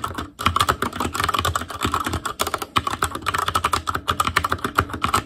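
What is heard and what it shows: Fingertips of both hands type continuously on an ASUS ROG Claymore Core mechanical keyboard with Cherry MX Red switches, black plastic keycaps on a metal frame, and a hollow, RGB-backlit housing. About 35 short, dry keystrokes clatter in quick succession, each with a hollow plastic tap centered near 1.2 kHz and a faint low thud. Each stroke dies away almost instantly.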